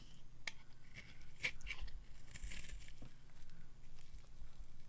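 A solid, white, hand-sized dry bar of soap is held in the palm and scraped with a metal knife into long flakes. The scraping makes soft, dry crackling and shaving sounds with a few sharper ticks and bright rasping over a low rumble.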